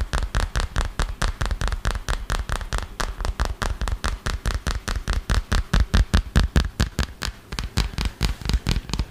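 Fast, steady tapping with long fingernails on the back and edges of a smartphone in a solid, dark green hard plastic case held upright in front of the mic. About 42 short, dry taps come in quick succession, each a low thump with a crisp click on top and almost no ring.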